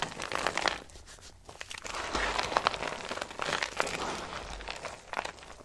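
Dry, brittle pale green soap shavings are pinched and crushed between fingertips and long nails. The result is a steady run of crisp, dry crinkling and crunching crackles with bright, papery texture, swelling and easing over several seconds with little low end.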